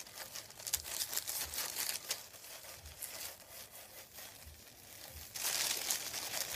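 Fingertips scratch and rub a thin, folded white printed paper sheet lying on a wooden table, making dry, bright crinkling and scraping sounds in irregular bursts with short pauses. The texture gets denser and louder near the end.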